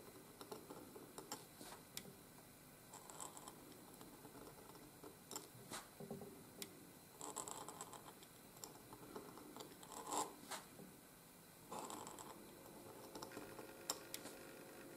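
A pointed steel dip-pen nib in a wooden oblique holder scratches across a flat sheet of white gridded calligraphy paper on a desk as cursive letters are written, while the other hand steadies the sheet. Quiet, dry scratching strokes come in short bursts with bright, hissy edges and occasional sharp ticks, separated by soft pauses.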